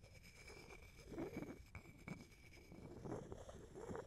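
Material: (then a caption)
Wood. An empty, hollow wooden mortar held in the hand in front of the mic as a wooden pestle is knocked and ground inside the bowl. Low, dull wooden knocks break up a steady gritty grinding and scraping, with a faint high tone holding through the clip.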